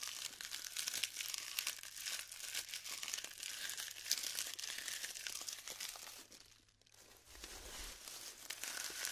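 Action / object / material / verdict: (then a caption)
scrape / glued polystyrene foam beads / polystyrene foam / none. Fingertips with long nails press and crumble clusters of glued styrofoam (polystyrene) balls, making a dense stream of bright crinkling, crackling and snapping close up. The crackles fade to a brief near-silent pause around two-thirds of the way through, then resume.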